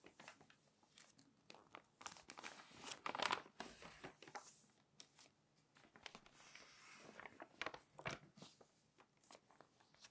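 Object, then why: Glossy paper magazine. An open glossy paper magazine has its pages lifted and turned by long nails, making them crinkle. Quiet, bright crinkling and papery rustles come in clustered bursts, with a louder crumpling swell around the middle and another near the end, each dying away quickly.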